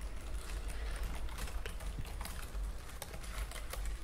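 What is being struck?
Plastic computer keyboard.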